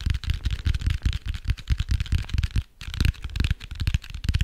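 A dark grey hardcover notebook with a cardboard cover is held in both hands while fingertips and nails tap and scratch its cover and edges. The result is a rapid, irregular stream of soft, dull, low thuds layered with bright scratchy friction, with a brief pause near the middle.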